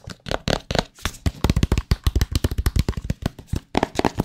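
Fingertips and nails tap and scratch the faces of a small, hollow, white cardboard AirPods Pro product box close to the mic. About 25 quick, dull, hollow taps come in a fast irregular run, mostly low and thumpy with faint scratchy brightness. Each tap dies almost instantly with no ring.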